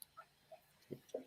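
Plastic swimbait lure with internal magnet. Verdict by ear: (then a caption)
No rattle. A Headhunter plastic swimbait lure is shaken, giving a few faint, short ticks and clicks. The sound comes from the internal magnet that holds the hook, not a rattle; this bait has no rattle.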